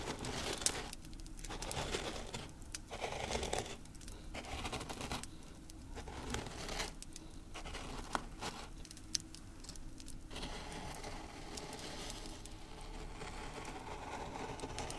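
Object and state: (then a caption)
Coarse salt crystals being rubbed. Fingertips and nails press, rub and scratch into a loose mound of coarse pink salt crystals on a tray. Dry, gritty crunching and crinkling comes in bursts of bright crackle, separated by brief quieter gaps over a steady low rumble.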